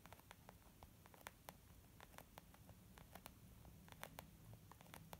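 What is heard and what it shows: Long nails of both hands tap on a small white textured leather zip makeup bag lying flat, its soft, hollow body giving back quick, quiet clicks. The light taps land in an irregular patter, each short and bright over a low, steady background hum.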